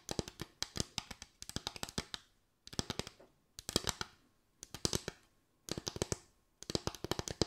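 Long white acrylic nails tap and scratch a small board of parallel bamboo slats with gaps. Quick bursts of dry, bright clicking taps come in clusters separated by short pauses, each tap dying away almost instantly with a hollow, woody tone and a light scratchy rasp.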